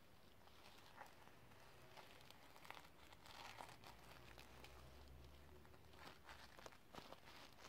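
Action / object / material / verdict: scrape / plastic sequin-covered notebook / plastic sequins / none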